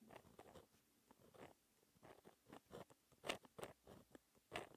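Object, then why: Gel pen on textured paper sheet. A white gel pen held in the fingertips writes math equations on a flat sheet of black, lined, textured paper. The result is quiet, irregular bursts of short, dry scratching strokes that sound midrange to bright, with a few sharper, louder scratches near the end.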